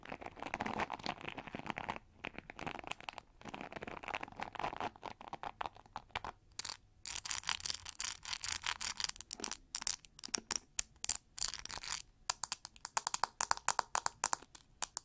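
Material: Plastic.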